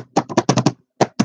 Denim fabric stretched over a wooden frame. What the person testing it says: A nice taut canvas should sound kind of like a drum when you smack on it.